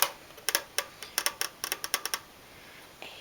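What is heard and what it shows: A small metal gift box shaped like a mailbox, with a little plastic flag, a pine and pine cone garland, and dangling stars, is tapped lightly with the fingertips. It gives a quick run of bright, dry ticking taps that die away almost instantly, with no low-end body.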